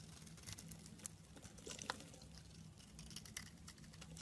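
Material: Soap.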